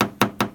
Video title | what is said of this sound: ND Miata lots'O Al | the door sounds more solid, more harder